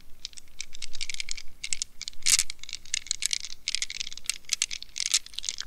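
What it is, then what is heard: Mesh squishy stress ball. Long nails scratch and tap a gel-filled rubber mesh squishy stress ball wrapped in a plastic net. The result is a quick run of dry, bright clicks and scratchy bursts in the high range with little low body, each tap dying away almost at once.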